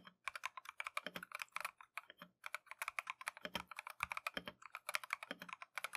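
A Keychron V1 compact mechanical keyboard with Tangerine switches and green and white Matcha plastic keycaps is typed continuously with gloved fingertips. About 46 quick, bright clacks arrive in rapid bursts with brief pauses, each dying away almost instantly with very little low end.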